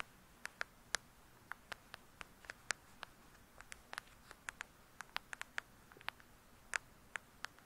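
Long acrylic nails tap close up on the glossy paper-covered cardboard cover of a thick, solid hardcover book lying flat. About 25 quiet, sharp, bright clicks come at an uneven pace, each dying away almost at once against a soft hiss.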